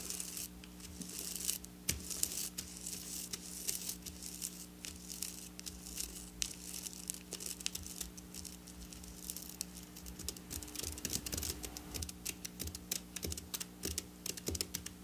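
Long black nails scratch and tap along the rows of a flat silver sequin fabric lying on a table. The result is a dense stream of bright, crisp scratching and quick dry ticks with almost no ring. A faint steady low hum runs underneath.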